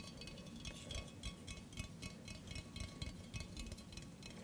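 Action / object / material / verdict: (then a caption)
tap / stainless steel mug / stainless steel / none. A hollow stainless steel mug with a handle, held in the hand, is tapped quickly and irregularly with fingertips and nails. Each tap gives a short, bright metallic clink with very little ring over a low, soft background rumble.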